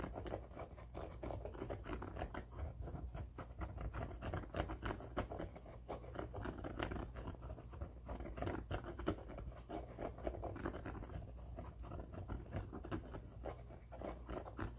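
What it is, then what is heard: Fabric baseball cap. Fingertips scratch and tap the fabric-covered brim of an empty blue cloth Thunder baseball cap. The result is a steady stream of soft, dry, muffled scratches and light taps that die away almost instantly, over a faint low hum with little brightness.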